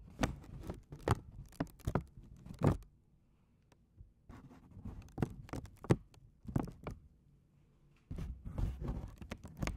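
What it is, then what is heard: Paper bag. A small, folded white paper McDonald's bag, held in both hands, is tapped with fingertips and nails. It gives soft, dull, low thuds with a light papery crackle, coming in quick clusters separated by brief quiet pauses.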